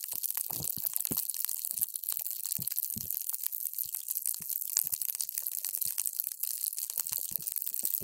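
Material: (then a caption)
Hydrogel. A paper straw is pushed down into a clear plastic cup full of multicolored water gel beads, crushing and squishing them. The result is a quiet, continuous stream of bright, crackly crunching and wet popping, with occasional soft low thumps as the straw presses deeper.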